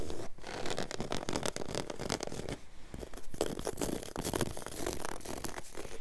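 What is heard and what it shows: Long yellow nails scratch fast and aggressively with both hands across a flat, solid, low-pile woven grey carpet on the floor. The result is a dense, continuous rasping scratch, made up of rapid strokes that blur together, with a heavy low rumble and a thin bright edge.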